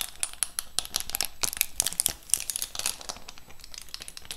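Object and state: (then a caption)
Plastic-lidded lip gloss box. Long pink acrylic nails scratch and tap across the clear plastic lid of a large, flat, cardboard-framed lip gloss set holding rows of gloss tubes, held up close to the mic. The result is a dense run of quick, bright, crinkly scratches and clicks, each dying away almost instantly, with the strongest bursts in the middle of the clip.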